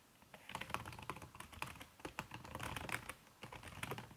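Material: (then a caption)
Silicone, plastic. Fast typing with fingertips and long red-painted nails on a backlit aluminium laptop keyboard whose plastic keys are covered by a red silicone skin. A quiet, steady stream of soft, muted key taps with brief bright ticks, each dying away almost at once.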